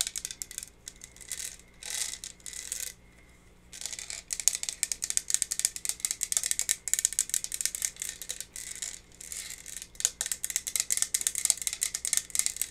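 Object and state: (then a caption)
Plastic tumbler, tapped and scratched. A tall, clear, iridescent, faceted plastic cold cup with a straw, hollow and empty, is held in the hand and tapped and scratched with long red nails. Rapid, dry, high-pitched clicks and scratchy rattling come in bursts, with a few short pauses.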